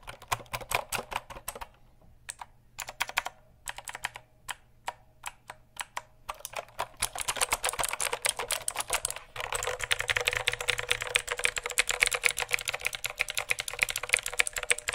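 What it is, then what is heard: Plastic mechanical keyboard. Fingertips tap and type on the keycaps of a full-size black plastic mechanical keyboard with RGB backlit keys, held tilted in front of the mic. Sparse bursts of sharp, bright clicks with short pauses give way after about six seconds to a dense, continuous stream of rapid typing. The typing grows louder near the end, with very little low end throughout.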